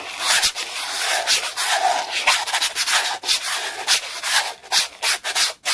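A flat black plastic clear-holder document folder is rubbed fast by hand with an orange round textured brush. The result is a continuous, bright, scratchy brushing sound in quick, uneven strokes, with almost no low end.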